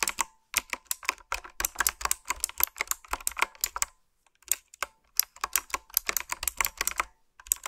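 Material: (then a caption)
Plastic. Long nails and fingertips type on a typewriter-style retro mechanical keyboard with a dark frame and round backlit plastic keycaps. Rapid, bright, crisp clicks and clacks arrive in quick bursts with very short decay. There is a brief pause near the middle before the typing resumes.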